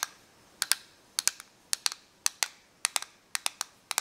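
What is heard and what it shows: Long nails tap and scratch the clear shell of a small, hand-sized, hollow correction tape dispenser made of clear and black plastic with green spools. About 17 sharp, bright plastic clicks land in uneven clusters and pairs over four seconds. Each click is mostly high-pitched and dies away almost instantly over a faint hiss.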